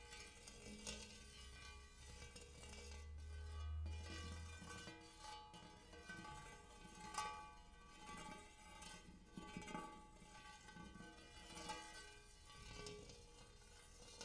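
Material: Metal.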